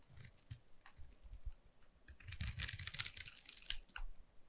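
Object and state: Bar soap being scraped.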